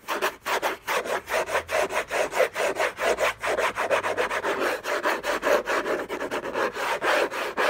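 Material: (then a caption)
Cardboard. Fingertips and short nails scratch the lid of a closed, long rectangular orange Hermès cardboard box covered in textured paper, lying on a fluffy blanket. About 29 fast, rough back-and-forth scratching strokes come in a steady but uneven rhythm, each a dry rasp with a midrange body and a bright, papery edge.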